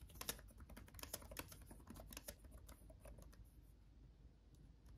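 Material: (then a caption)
Plastic. Fingertips of both hands type on a backlit laptop keyboard with plastic chiclet keys, making quick, irregular, bright clicky taps. The tapping is busiest and loudest in the first half, then thins to softer, sparser taps over a steady low rumble.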